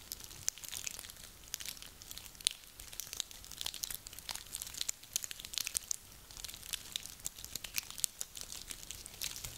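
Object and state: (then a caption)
Dry pine cones. A handful of small, dry, woody pine cones is squeezed and rubbed between hands. The result is a steady, quiet stream of bright, dry crackles and crinkling crunches, with sharp clicks scattered throughout and almost no low end.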